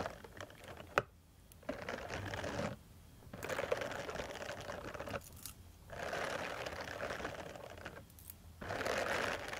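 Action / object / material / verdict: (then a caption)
scrape / silicone face brush scratched with metal nail tips / silicone / none. Long metal nail tips scratch across the bristle nubs of a small purple silicone face cleansing brush pad. Dense, bright, rasping scrapes with a steady midrange tone come in sustained bursts separated by brief quiet pauses.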